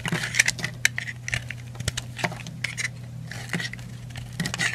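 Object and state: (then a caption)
Bar soap being carved. A yellow utility knife blade carves and scrapes curls and chunks off the edge of a solid yellow-orange bar of soap held in the hand, with the flakes piling onto a white surface. The result is a quick series of crisp, bright scraping and crackling strokes over a steady low hum.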